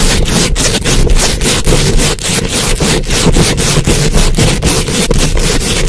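Very long acrylic nails scratch and rub fast over the hollow, rounded metal mesh grille of a large condenser microphone. The result is a loud, continuous, rhythmic scraping with a heavy low rumble and bright, hissy strokes that repeat in quick succession.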